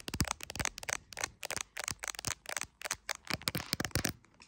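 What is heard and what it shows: A handheld iPhone in a clear plastic case has long acrylic nails tapping and lightly scratching on its camera area and case. The result is a rapid run of about sixteen sharp, bright clicks with quick decay and faint scratchy texture between them.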